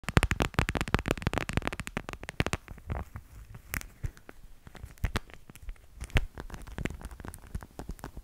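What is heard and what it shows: Fingers tap on a plastic cat figurine in quick, light strokes. A dense flurry of short, dull knocks with almost no ring fills the first few seconds, then the taps thin out into sparser, softer patters.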